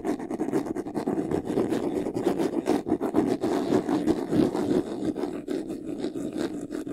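Fingernails scratch quickly along the top edge and side panel of a closed, hollow, medium white textured faux-leather jewelry box. The result is a steady, dense rasping with rapid strokes blending into one another. The tone is a muffled, mid-range scrape with little deep low end.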